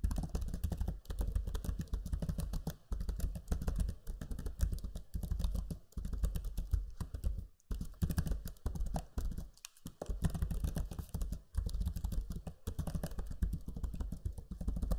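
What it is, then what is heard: Plastic laptop keyboard being typed on. Fingertips type steadily on the low-profile plastic keys of a backlit black Lenovo Legion 5 laptop keyboard, producing a dense run of soft, short clicks with a dull low thump. Brief pauses break the typing into bursts.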